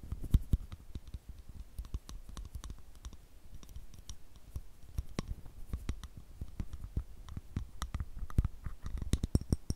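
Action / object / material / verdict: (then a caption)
tap / glass perfume bottle with metal cap / metal, glass / none. Fingertips and nails tap and click on the gold metal cap of a rectangular, partly filled clear glass perfume bottle held over a microphone. Many short, dry clicks come in quick, uneven bursts, each with a soft low thump and a bright tick that fades almost instantly.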